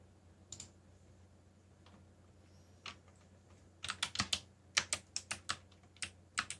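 Fingertips type on a backlit plastic mechanical keyboard with black plastic keycaps. A few scattered, bright, short-lived key clacks give way to a quicker run of typing, about sixteen distinct strokes in all, over a faint low hum.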